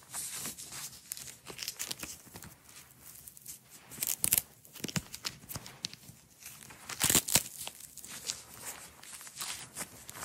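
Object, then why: Nylon hook-and-loop strap. A blue nylon hook-and-loop strap, rolled into a coil on a table, is rolled and peeled apart by fingers with long nails. The result is a steady run of bright, crackly tearing and crinkling rasps. Louder rips stand out near the four- and seven-second marks.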